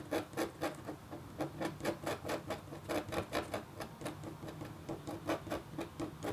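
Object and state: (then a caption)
Copper foil scratch art board being scratched. A red-handled, metal-tipped stylus scratches a flat, black-coated copper foil scratch art board. About 22 quiet, quick, rhythmic scraping strokes are heard, each a short dry rasp with a faint steady tone near 336 Hz and a bright scratchy edge that dies away almost instantly.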